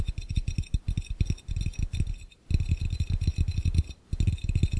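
Fingertips and nails of both hands tap quickly on an empty, clear, round, hollow glass fishbowl. The result is dense bursts of short, dull, low-pitched knocks with faint high glassy ringing above them, broken by two brief pauses.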